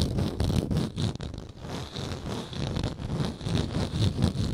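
Long nails scratch a round, textured wooden lid on a frosted glass moisturizer jar held in the hand. The result is a dense, uneven rasping scrape that swells and dips in short bursts, heavy in low rumble with a faint bright hiss above.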